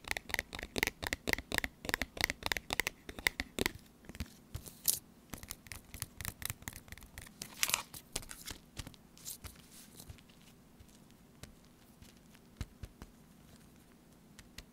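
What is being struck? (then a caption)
Laminated foil-plastic food pouch. Long nails tap and scratch across a small, sealed, full laminated foil-plastic tuna pouch, first on the front side and then the back. Quick, sharp, bright crackly ticks come in a dense run for the first few seconds, then give way to looser scratchy, crinkling strokes that fade to softer, sparse taps over a faint low hum.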